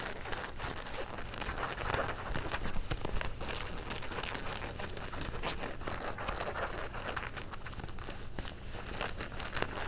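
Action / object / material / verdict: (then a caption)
scrape / denim jeans pocket / denim / none. Fingernails scratch across the back pocket stitching and fabric of dark blue denim jeans, making a steady stream of rough, crinkly scrapes over a low rumble. The scratching stays fairly even in loudness throughout, with brief brighter strokes standing out.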